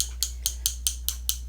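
A brand-new, still-sealed liquid lip color tube is shaken, and a mixing ball inside clicks back and forth to blend the color so it is wearable. Seven sharp, bright, high-pitched clicks come at a steady rhythm over a low, constant hum. This is the normal sound of the mixing ball; the tube is not opened to check.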